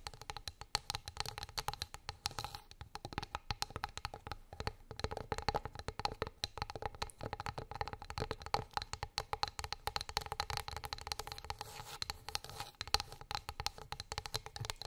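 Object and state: Wooden plate.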